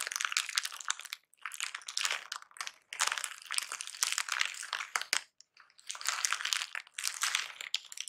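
Crumpled brown kraft packing paper lying flat is pressed and scratched with painted fingernails and fingertips. Dense, bright crinkling and scratchy rustling come in bursts separated by brief pauses, with almost no low end.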